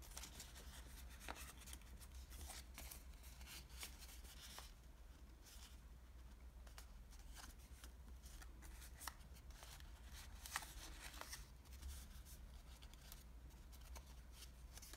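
A small folded origami model of thin green patterned Japanese washi paper with hollow layered folds is held in both hands while fingertips crease, fold and rub it. The result is soft, continuous papery rustling broken by short, crisp, bright crackles and snaps. A steady low hum sits quietly underneath throughout.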